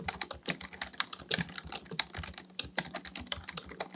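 Both hands type steadily with their fingertips on a black plastic full-size computer keyboard resting on a desk. About two dozen quick, dry, bright clicks come in close succession, each fading almost instantly.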